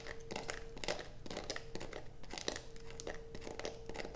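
A solid blue bar of soap resting on a black plastic sheet is steadied with one hand and scraped with the long nails of the other. Rapid, dry scratching bursts crackle one after another, with a faint steady hum running underneath.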